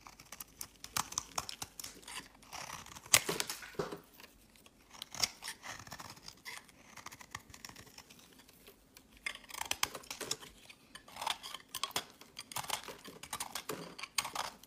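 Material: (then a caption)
Soap. A metal utility blade carves flakes from a solid pink-and-white swirled bar of soap held in hand over a woven mat. Quiet, crisp scraping and crackling cuts come in quick bursts, bright and dry with almost no low end and no ring. Brief pauses separate the clusters of strokes.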